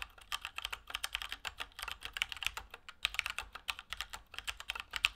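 A Keychron K2 plastic mechanical keyboard with Gateron Brown switches and plastic keycaps is typed on with the fingertips of both hands at a steady pace. About 36 short, dry, bright key clicks and clacks follow one another quickly with almost no ring, all sitting mostly in the upper range with very little low end.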